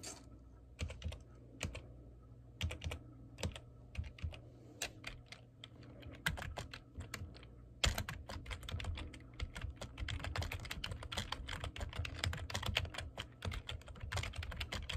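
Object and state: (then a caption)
Plastic computer keyboard. Fingertips with painted nails tap the keys of a black plastic computer keyboard, producing crisp, bright clicks over a steady low hum. The taps are slow and scattered at first, then become a fast, continuous run of typing about halfway through.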